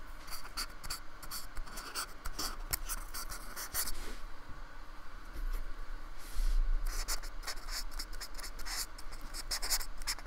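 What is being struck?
Polystyrene foam block brushed with a paintbrush.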